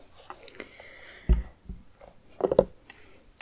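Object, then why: Pumpkin. Fingertips tap the outer rind of a hollowed, medium orange pumpkin that sits with its top open on a wooden table. Soft, dull, hollow knocks come at an uneven pace, with a deeper thump and a quick cluster of taps standing out. Each tap dies away almost at once, leaving faint background noise between them.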